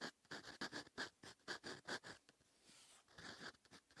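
A fine steel EF fountain pen nib writes across a lined notebook page lying flat and solid on a surface. It makes short, bright scratching strokes with a brief pause in the middle.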